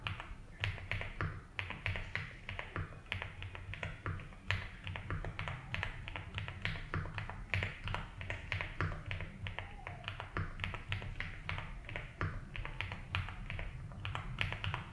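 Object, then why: Mechanical keyboard with plastic ABS keycaps. Fingertips slowly type on a compact 75% mechanical keyboard with a light blue case and white and blue ABS keycaps, resting on a desk mat. Short, dry clacks with bright tops come in a steady, unhurried stream over a constant low hum.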